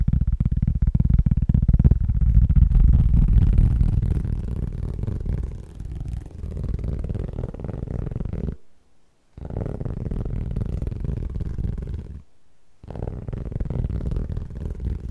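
A round cork board held in both hands is tapped fast and aggressively with the fingertips, giving a dense, muffled stream of low, dull thumps with almost no ring. The tapping is loudest in the first few seconds, eases slightly, then breaks off for two brief silences before resuming.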